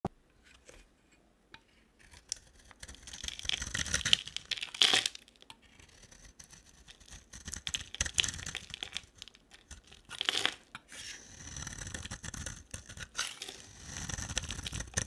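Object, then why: Bar soap shaved with a metal blade. A small, solid, rectangular bar of dry orange soap is held in the hand and shaved with the metal blade of a box cutter. Crisp, bright scraping and carving sounds come in uneven bursts as curls peel off.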